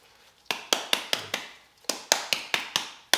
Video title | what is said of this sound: Project OverKill's TH400 Is Too Nice To Hide | shake it up till that ball quits rattling